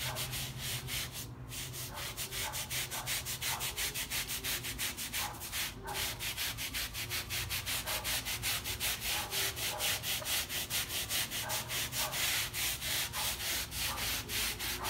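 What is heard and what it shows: A small, wet, flat woven or tufted fabric rug, paint-stained and soapy, lies on a rubber mat and is scrubbed back and forth by hand with a wooden-handled stiff bristle brush. The rapid, steady strokes make a bright, scratchy, swishing rasp that repeats throughout, over a faint low hum.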